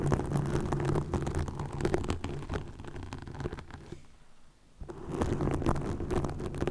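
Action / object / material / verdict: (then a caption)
scrape / plastic mesh net over a microphone / plastic / none. Long nails scratch a green plastic mesh net stretched over a microphone, producing a dense, rapid, uneven scratching and crackling with a deep, muffled rumble. The scratching fades to near silence partway through, then returns just as strongly.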